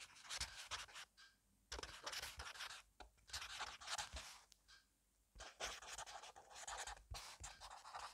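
A black fine-liner pen scratches fast writing strokes across the page of a thick paper grid notebook lying on a wooden table, while a hand with painted nails rests flat on it. Dense, bright, scratchy bursts of scribbling run almost continuously, with two short pauses where the pen lifts off the paper.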